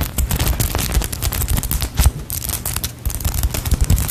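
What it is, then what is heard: Foam cake slice squishy. A small solid polyurethane foam cake slice squishy toy is tapped and squeezed with long nails close to the mic. Rapid, dense tapping and squeezing give deep, boomy thumps with short, bright crackling clicks, steady throughout.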